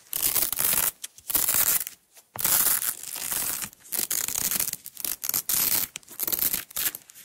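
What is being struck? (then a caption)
Nylon hook-and-loop tape roll. Long nails peel a strip of green nylon hook-and-loop tape off its roll on a table. The result is bright, crackling rips in bursts of varying length, separated by brief quiet pauses, with almost no low end.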